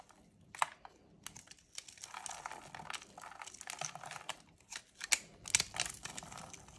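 A small metal blade scrapes and carves thin strips off a solid, white, palm-sized rectangular bar of dry soap held in pink-gloved hands, with the shavings collecting on a wooden tray below. The result is a dry, crisp, crinkly scraping with bright, brittle crackles and a few sharper snaps as the strips come away.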